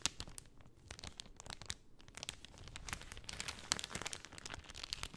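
A pink cellophane sheet is rolled up by hand, crinkling under fingers and nails. A quiet, steady stream of bright, crisp crackles and sharp little snaps runs throughout, with a few louder pops standing out.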